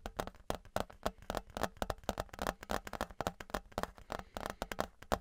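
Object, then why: Thin embossed metal license plate. Fingertips and nails tap the face of a thin, flat, embossed metal Patriots novelty license plate, about 30 cm wide, held in both hands in front of the mic. The result is a quick, irregular run of short, dry, close-up taps with a tinny midrange ping around 1 kHz, each dying almost instantly.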